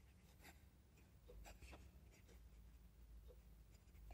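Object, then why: Metal pen nib on a paper notebook page. A metal fountain pen nib scratches across an open ruled paper notebook lying flat on a desk as a hand writes cursive text. Quiet, bright scratchy strokes come and go over a steady low hum.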